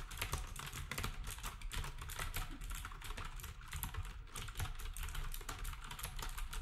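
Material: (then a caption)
Plastic. Fingertips type steadily on a black compact plastic typewriter-style keyboard with round plastic keycaps. A dense, continuous stream of quick, short key clacks has a heavy low thump under sharp, bright click edges, with no pauses across the clip.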